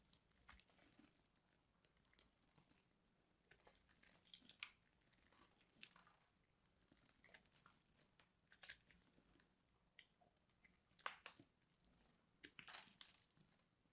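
A knife scrapes scored cubes off the edge of a solid purple bar of soap, making quiet, bright crunching scrapes. The crunches come in irregular bursts, with a few sharper, louder cracks and a longer crunching scrape near the end.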